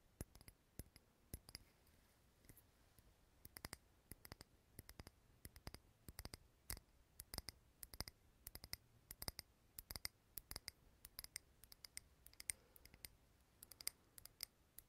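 A small clear glass jar filled with solid green wax is held in the hand and tapped on its glass sides with fingernails. The taps come in quick, irregular bursts of sharp, bright clicks. Each one dies away at once with no ring, over a quiet background.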